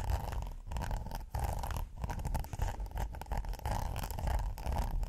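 Fingernails scratch along the ridges of a red textured silicone pot holder, first folded and then laid flat. The result is a continuous, rough, rubbery scraping with a dull low rumble, a faint buzzy band in the mids, and brief dips between strokes.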